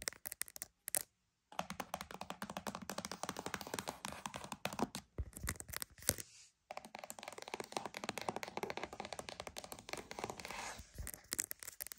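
A cardboard box is tapped and scratched in a fast, steady run of short, dry taps mixed with papery scraping, each sound dying away almost instantly. Two brief silences break the sequence, near the start and around the middle, and the overall level stays quiet.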